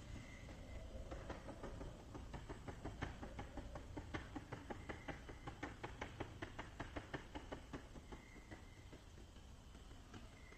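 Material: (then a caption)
Plastic. Long-ish fingernails tap and scratch the clear plastic side of a small clear plastic case with a green lid and contents inside, held on its end. A quick, uneven series of short, dry clicking taps runs through the middle of the clip over a soft, low background hiss, with light scratching before and after.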